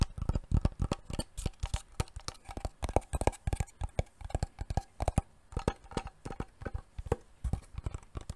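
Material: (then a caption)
Wood. A wooden box is tapped rapidly and repeatedly, giving a dense stream of short, dull, low knocks with almost no ring. The taps vary in strength, with occasional louder ones standing out.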